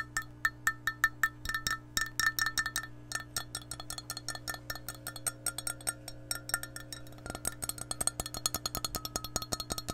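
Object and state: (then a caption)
Glass measuring cup tapped with nails. Long nails tap rapidly on an empty, hollow, clear glass measuring cup with a handle, making a quick, steady series of short, bright clicks. Each tap carries a brief ringing tone near 1.8 kHz over a faint, steady low hum.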